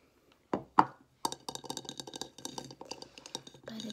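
A frosted pink embossed glass soap dispenser with its pump lies on its side on a wooden table and is tapped and scratched along its textured surface with long red nails. Two sharp, separate glassy taps, the second with a brief bright ring, are followed by a quick, uneven run of light clicking scratches across the raised pattern. The sound is thin and crisp with almost no low end and very little ring.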